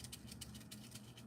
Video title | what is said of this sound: Tee Grows is live! | the okra seed is ready to harvest